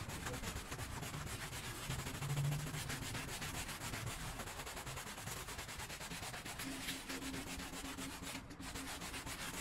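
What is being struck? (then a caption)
Small damp textile pile rug. A small, damp, bear-shaped pile rug is scrubbed by a gloved hand with a white handheld brush. A steady, rough rubbing and scrubbing runs throughout, with low bristle noise and a faint hum that swells briefly near the start and returns toward the end.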